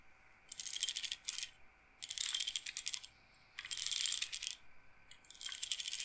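Fingertips and nails stroke and roll the wooden beads on the rods of a wooden-framed bead roller massager, clacking them. Four bursts of dense, bright, rattling clicks come in quick flurries, separated by brief quiet pauses.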